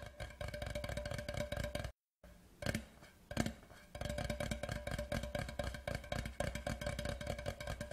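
Fingertips tap fast on the sides of a large, hollow, white printed cardboard whisky tube lying horizontally. The taps are dense, soft and hollow-sounding, with a low resonant thump and very short decay. The tapping drops to brief silence near the two-second mark, returns as a few sparse taps, then resumes at a rapid, steady pace.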